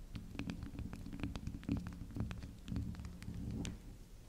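Long acrylic nails tap and scratch the spiral top of a small, round, solid pink soft soap resting on a table. The result is a steady stream of soft, muffled low thumps and rubbing, dotted with brief, bright clicks from the nail tips.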